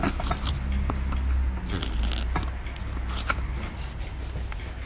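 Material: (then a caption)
Plaster. A wooden stick scratches and scrapes away plaster from a solid white plaster excavation block held in hand, with a skull emerging from it. The sound is a steady, gritty scraping over a low hum, broken by irregular dry clicks and brief bright ticks that fade almost at once.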